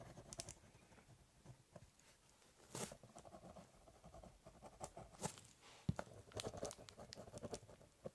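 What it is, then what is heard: Pen scratching on cardboard. A ballpoint pen draws quick, scratchy strokes across the top of a large corrugated cardboard box, scribbling, cross-hatching and doodling. Soft, dry scratching and pattering rustles come in uneven bursts, with a few sharper, brighter scrapes standing out from the quiet, low-heavy texture.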